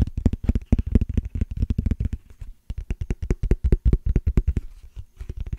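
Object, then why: Small clear ridged plastic case. Fingernails scratch and tap rapidly across a small, hollow, transparent plastic case with a ridged texture. Dozens of quick, dry taps come in dense bursts with brief pauses, each a short, dull knock that dies away almost instantly, with faint scratchy texture on top.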